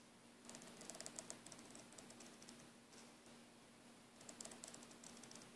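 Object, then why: Braided nylon air hose. A green braided nylon air hose is held in a loop while fingernails rapidly scratch and squeeze the braid. This produces quick, dry, bright ticking scratches in two busy bursts separated by a quieter stretch, over a faint steady low hum.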